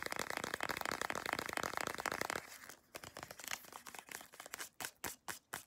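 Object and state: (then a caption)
Soft plastic lotion tube. Long acrylic nails scratch and tap the front and back of a small CeraVe moisturizing cream tube made of soft plastic. A dense, crinkly scratching runs for the first couple of seconds, then thins into quieter, separate clicks. It ends with a few sharp, bright taps spaced apart.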